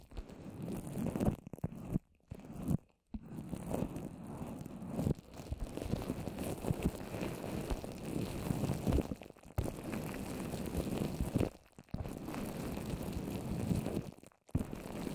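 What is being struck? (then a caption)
Wet paper mache over a plastic-wrapped microphone. Long orange nails from both hands tap on wet white paper mache spread in a dome over a plastic-wrapped microphone head. The result is a dense, muffled, low crackling and sticky crunching with almost no high end, broken by a few brief silent gaps.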